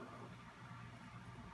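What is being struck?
Nothing is struck.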